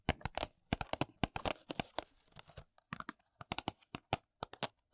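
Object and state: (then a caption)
Paperboard box tapped and scratched with fingernails. Long nails tap and scratch the back and edges of a small, hollow paperboard press-on nail box held at an angle. About two dozen crisp, dry taps land in uneven bursts, with a softer scratchy rustle in the middle. Each hit cuts off almost instantly with no ring.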